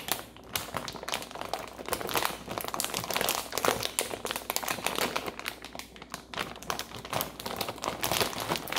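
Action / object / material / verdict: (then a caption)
scrape / plastic bag of frozen broccoli florets / plastic / none. A medium plastic bag full of frozen broccoli florets is held upright in both hands while long painted nails scratch and squeeze it, with a second bag lying untouched beside it. The result is a steady, dense stream of bright, crisp crinkling and rustling with quick crackles and little low-end weight, continuing throughout without a pause.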